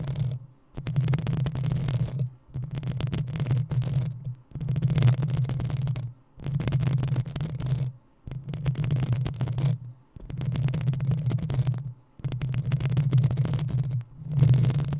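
Long acrylic nails scratch the sides of the hollow metal mesh grille on a black desktop USB condenser microphone. The sound comes in eight bursts of a couple of seconds each, separated by brief silences. Each burst is a heavy low rumble with a bright, fizzy scratching on top.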